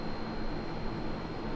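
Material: Nothing is struck.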